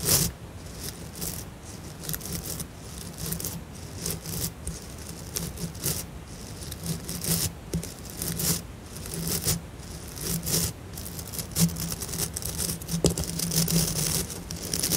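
A blue plastic scrub brush with white synthetic bristles is held up while a fingertip and nails scratch and flick its bristle tufts. The result is irregular, bright, crackly scratches and quick flicks over a steady low hum.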